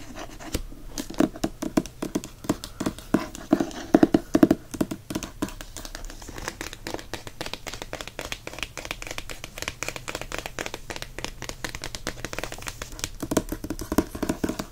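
Fingertips and nails scratch and rub the printed paper dust jacket of a hardcover book held flat, over its rigid board. The result is a dense run of quick, dry scratching and tapping strokes with a papery, mid-pitched tone and almost no ring. A few louder, slightly tonal taps stand out around the four-second mark before the rubbing settles into a steady rhythm.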